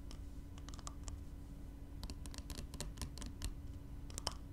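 Fingernails tap and scratch a small glass spray bottle with liquid inside as it is handled on fabric. Quick, bright clicks and short scratches come in scattered clusters over a steady low hum, each dying away almost instantly.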